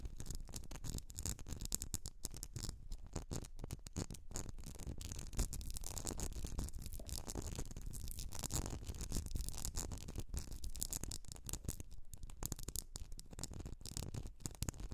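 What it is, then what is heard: Glass candle jar scratched and tapped. Long nails scratch and tap the sides of a medium etched glass candle jar filled with solid wax. The result is a dense, continuous rasping scrape broken by quick, dry ticks that die away almost instantly, with a faint bright hiss above a heavy low rumble.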